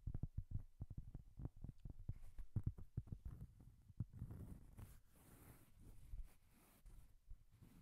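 Long painted nails tap and scratch across a large, flat, round, solid cork coaster held upright near the microphone. Quick, dull, low thuds with almost no ring come in a fast, uneven run for the first four seconds. They then give way to a softer, hissy scratching mixed with a few scattered taps.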